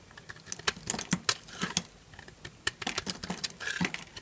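A solid yellow bar of dry soap held in the hand is carved with a small knife, shaving off crunchy flakes. Quick, dry, crisp scrapes and crunches with a bright, high edge come in irregular bursts, each dying out almost at once.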